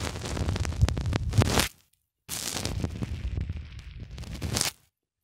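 Fingers repeatedly press and twist a small black plastic cylinder into a white polyethylene foam block. The result is two stretches of dense, crackling, creaky friction with a heavy low rumble and bright scratchy edges, separated by a short silence.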